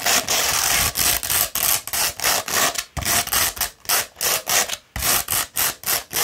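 A coarse 60-grit sandpaper sheet, rolled into a tube, is scratched along its length with long red nails. A quick run of bright, gritty rasping strokes follows one after another with short gaps between them, with almost no low end.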